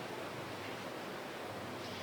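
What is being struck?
Nothing is struck.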